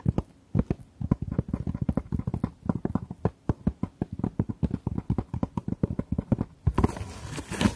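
Long fingernails tap quickly across the lid of a long, closed, hard jewellery case covered in patterned fabric, held in both hands. The taps are a dense run of dull, low, muffled knocks that die away at once. Near the end they give way to a brighter, hissy scratching across the fabric.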